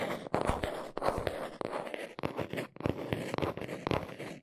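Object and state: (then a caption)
Cardboard box. Long nails scratch and tap the underside of a small brown cardboard box held up close. Dry, papery scratching runs throughout, broken by sharp, crisp taps and brief pauses, with the sound centered in the mids.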